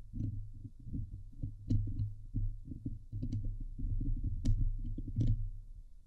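Long nails scratch the hollow steel mesh grille of a Blue Yeti microphone, producing dense, low, muffled rasping strokes with occasional sharper bright clicks. The hands briefly move away mid-stretch before the scratching resumes.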